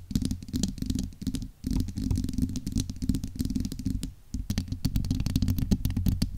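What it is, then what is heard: Metal microphone mesh grille. Long acrylic nails scratch and rub the domed, hollow steel-mesh grille of a large USB microphone. The result is a dense, rumbling low scraping with quick bright ticks, and a brief lull near the middle and again before the end.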